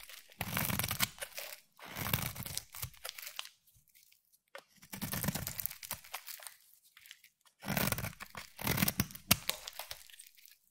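A utility knife blade scrapes and shaves the surface of a solid pale yellow bar of soap held in the hand. Dry, crunchy, crinkling scrapes come in repeated bursts separated by short pauses, each with a soft low body and a bright crackling edge.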